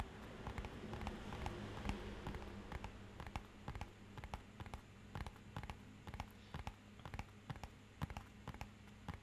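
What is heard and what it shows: Fingernails tap on a small, rigid, hollow, matte-black rectangular cardboard box held upright. The result is an uneven run of quick, dry, clicky taps that stop almost instantly, over a steady low hum.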